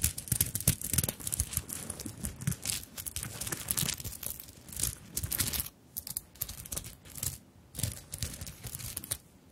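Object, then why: Fabric handbag covered in sequins and beads. Long nails scratch and tap across a small, soft fabric handbag covered in sequins and bead flowers. The result is a dense, bright, crinkly rustle with sharp little clicks and a low fabric rub beneath. Brief quieter pauses fall near the six-second mark and at the end.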